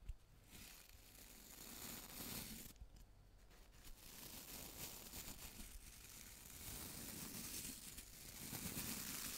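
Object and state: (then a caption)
Clear plastic round brush. A small round brush with a transparent plastic body and many white plastic bristles is held in one hand close to the mic while fingertips scratch and tap its bristles and body. The result is a steady, bright, crinkly scratching and rustling with soft taps mixed in, over a faint low hum.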